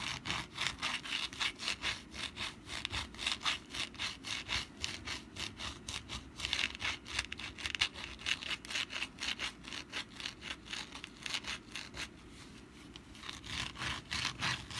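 Long black nails scratch the textured surface of a rust-brown papier-mache pumpkin decoration held in both hands. The result is a rapid, uneven series of dry, bright scratching strokes, roughly four per second, with a brief quieter lull near the end.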